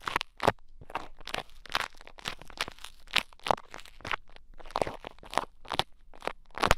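A small mound of pink bead play foam, pressed into the ear of a mannequin head microphone, is poked and picked with thin wooden sticks. About twenty short, crunchy, crackly bursts sound in quick succession, each broadband and bright with a low thump underneath, and fading almost at once.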